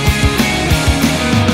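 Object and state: Nothing is struck.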